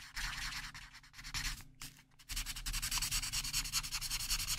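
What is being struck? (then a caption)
Felt-tip marker on a paper coloring page. A dark felt-tip marker is rubbed rapidly back and forth over a printed paper mandala coloring page lying flat on a table, filling in areas. It makes bright, hissy scratching strokes over a faint low hum. After a brief lull near the middle, the strokes return louder and more steady.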